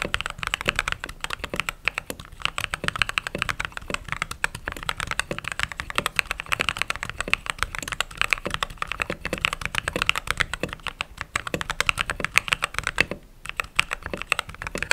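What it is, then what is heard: Mechanical keyboard with plastic keycaps. Fingertips with short nails type rapidly on the white plastic keycaps of a backlit mechanical keyboard. A dense, steady stream of short, bright clacks runs throughout, each dying away almost instantly, with a brief pause near 13 seconds before the typing resumes.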